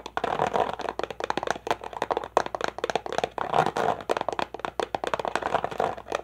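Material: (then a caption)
Plastic. An empty, clear plastic water bottle, crumpled and hollow, is held in both hands and squeezed and tapped with fingers and nails. The result is a fast, continuous stream of sharp, dry crackles and clicks with a hollow midrange tone and very little low end. Each tap dies away almost instantly.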